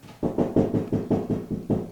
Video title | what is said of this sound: How to Install Grab Bar Made Easy...Part 2 | Hear that? How it's hollow sounding?